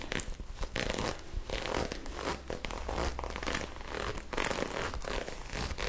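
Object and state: Ribbed knit fabric scratched with nails.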